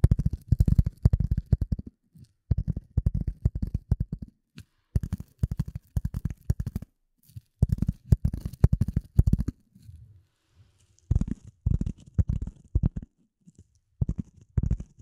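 A rectangular gray polyethylene foam sheet, held in front of and above the microphone, is tapped and scratched with the long nails of both hands. Quick bursts of dull, low, thumping taps come in clusters separated by short silences, with a softer scratchy rustle in between. Each tap stops almost instantly with no ring.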